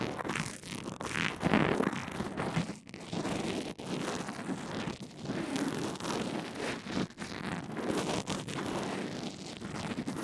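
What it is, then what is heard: Fabric-bandage-covered earphone mic being brushed. A pink rubber mascara spoolie on a black handle rubs and scratches along a fabric band-aid wrapped over an earphone microphone. The result is a continuous, muffled, crackly scraping that swells and fades in strokes, with a few brief quiet gaps. Its energy sits mostly in the low-mid range, with little high brightness.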